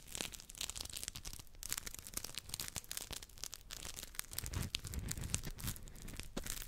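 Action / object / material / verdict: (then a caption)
scrape / polymer scrub sponge / polymer foam / none. Two identical hand-sized, round yellow textured polymer scrub sponges with smiley faces are rubbed against each other right next to a microphone grille. The result is a dense, continuous scratchy crinkling and rasping with bright, crackly texture. Soft low thumps from handling run underneath throughout.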